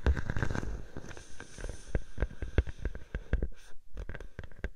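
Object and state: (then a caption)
Plastic bubble wrap. A clear plastic bubble wrap sheet draped over a microphone is scratched and tapped by long painted nails. The result is a dense run of short, crisp crackles and taps with a low, muffled thump underneath, and the taps grow sparser toward the end.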